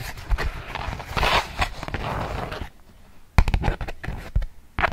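A polka-dot beeswax-coated cotton food wrap sheet is tapped and scratched with long nails and crinkled. Dull taps and rustling crinkles with a low thump come in bursts, broken by a short quiet pause, then sharper taps and scratches return.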